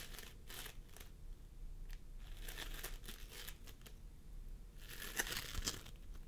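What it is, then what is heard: Floam foam squished by fingers. Fingertips of both hands press and squish a pastel mound of floam sculpting foam made of polystyrene beads, resting on a wooden table. Soft sticky crackles and crinkling bursts come and go over a low background rumble, growing denser near the end with a few sharp bright pops.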